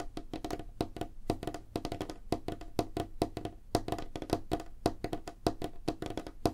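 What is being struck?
Wooden tabletop.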